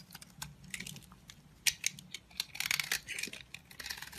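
A utility knife scrapes and carves crumbly flakes from the edges and face of a dry, solid, rectangular orange-peach bar of soap. The result is a rapid series of bright, crisp, dry scratches and crackles that die away almost instantly, with a few louder crunchy cuts standing out over a faint low hum.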